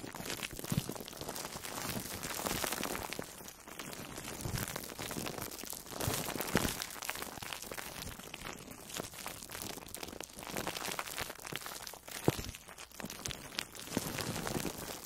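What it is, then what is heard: Foam sponge wrapped in plastic cling film. An orange-slice-shaped foam sponge wrapped in plastic food wrap is squeezed and scratched with long nails. The result is a continuous stream of dense, bright crinkling and crunching with tearing-like crackles. Louder swells come and go throughout.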